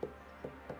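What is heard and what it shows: Three quick taps on the bottom of a leather-hard clay bowl during trimming on the wheel give short, hollow knocks with a mid pitch near 430 Hz that die away almost at once. The hollow sound shows a little more clay can come off the wall.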